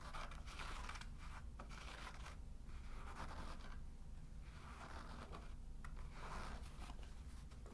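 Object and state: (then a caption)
Cork trivet. Short fingernails tap and scratch the top of a round, solid cork trivet held flat. Soft, dry scratching comes in repeated bursts over a steady low hum, and it stays quiet and muted throughout.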